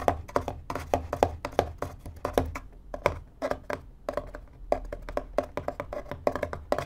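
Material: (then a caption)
Cardboard. Fingertips tap and scratch the top panel of a small, empty, hollow corrugated cardboard box, which is turned partway along the way. The result is a rapid run of dry, short hollow taps with a resonance around 700 Hz, mixed with soft scratching between them.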